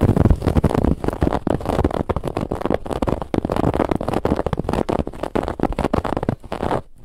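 Fingernails aggressively scratch the woven lattice band of a soft white cushion, producing a dense, rapid stream of muffled, low-heavy scratching and rubbing with little brightness. The scratching continues almost without pause, dipping briefly near the end before resuming.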